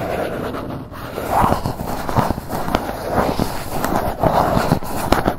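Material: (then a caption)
Cardboard. Long nails scratch and tap the surface of a grey Gucci cardboard gift box held in both hands. The result is a steady, dry scratching texture, centred in the low-mids around 840 Hz, broken by soft, quick taps that die away almost at once, with very little high-end brightness.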